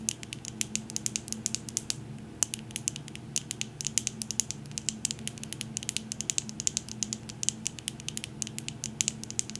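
Long nails tap and scratch on a medium wax-filled glass jar candle and its glass lid, making a rapid, steady run of sharp, bright clicks with almost no ring. Faint scratchy texture and a low steady hum sit underneath the quick taps.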